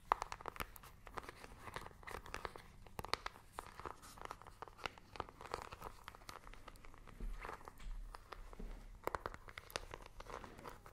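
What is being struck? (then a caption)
Handheld plastic remote control with rubber buttons. Long manicured nails tap and scratch a small, hollow handheld plastic IR remote control with colored rubber buttons, held close to the mic. Quick, dry clicking taps mix with scratchy, crinkly rubbing, centered in the mids with brief bright edges. Each tap dies away almost at once, against a quiet low rumble.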